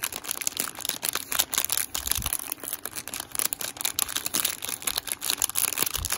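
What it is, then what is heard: Plastic-wrapped snack bar. A small, solid Rice Krispies Treats Chocolatey Chip Cookie Dough bar, sealed in a glossy plastic/foil wrapper, is held in both hands and pressed, tapped and crinkled with fingertips and nails. The result is a continuous stream of bright, crisp crackles and short sharp ticks with almost no low end, each snap dying away instantly.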